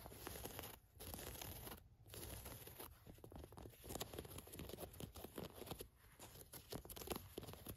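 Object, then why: Cotton work pants waistband with elastic and mesh lining. Long nails scratch and tap along the waistband of khaki cotton work pants, which have an orange elastic inner waistband and a mesh lining. The sound is a steady run of dry, papery scratching and crinkling with quick ticks, broken by short pauses, and it stays fairly quiet throughout.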